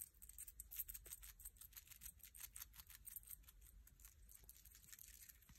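A single dried, bleached sand dollar shell (calcium carbonate skeleton), palm-sized, thin, flat and rigid, is held up in one hand in front of a white stool and scratched rapidly with fingertips and short nails. The result is a quiet, continuous stream of fast, dry scratches and crisp ticks with a bright, hissy high end over a faint low rumble.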